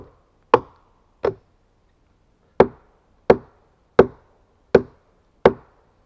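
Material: Pine wood.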